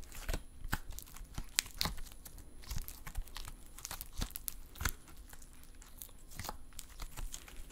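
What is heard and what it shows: Silver metallic stress putty is held in both hands while the fingertips squeeze, fold and pull it apart. Soft sticky crackling and stretching runs throughout, broken by a string of sharp, bright pops and clicks as the putty snaps apart.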